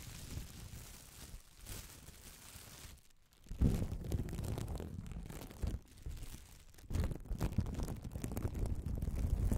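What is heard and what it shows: A crumpled piece of clear plastic bubble wrap, light and hollow-celled, is squeezed and crinkled with fingertips near the microphone. The result is a dense, continuous crackling and rustling, heavy in low rumble. The sound dips briefly quiet near the three-second mark, then swells into louder crunching bursts.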